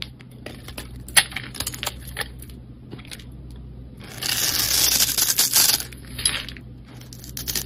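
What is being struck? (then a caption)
Soap bar cut with a knife blade. A solid rectangular two-tone pink and white bar of soap is held in the hand and carved and scraped with a utility knife blade, leaving shavings piled below. Quiet, sparse scratches and small clicks give way midway to a louder, sustained bright scraping with crisp, irregular flicks as the blade shaves the soap, then it eases off again over a low steady hum.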